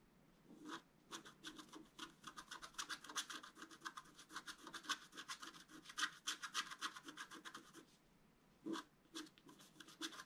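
A wooden stylus scratches across a thin, solid, flat black wax-coated scratch-art paper card. Quick, dry, bright scraping strokes come in an uneven rapid run of a few per second. They pause briefly near the end and then return in a few short scratches.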